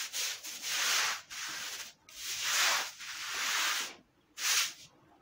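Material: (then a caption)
Fabric. A long-handled bristle brush scrubs a flat, thin, soapy wet woven fabric rug lying on a concrete floor in repeated strokes. Five long, bright, hissing scrub strokes are heard, with a wet, foamy texture from the soap and water. Short pauses fall between them.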